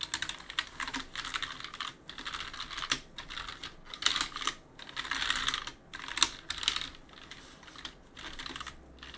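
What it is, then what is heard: Mechanical keyboard with plastic keycaps. A gloved hand wipes and rubs the plastic keycaps of a backlit mechanical keyboard with a cloth, clicking the keys as it goes. Bursts of bright, scratchy rubbing alternate with short, sharp key clicks that fade almost instantly, with brief quiet gaps between strokes and very little low end.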